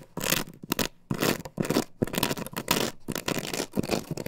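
Long nails scratch quickly across an upright plastic stencil template glued to a wooden board, producing dry, bright, broadband scraping bursts. The strokes come in an irregular rhythm separated by brief near-silent gaps, with little ring after each.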